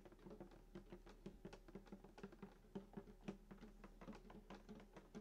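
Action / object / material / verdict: tap / wooden acoustic guitar body / wood / none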